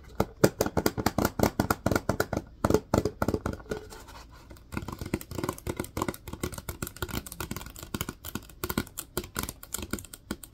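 Fingertips tap and scratch the body of a plastic disinfecting wipes canister held sideways. The result is a quick run of dry, hollow plastic taps and scratches with a low-mid tone, broken by a brief quiet gap near the middle. Each tap stops almost instantly, with no ring.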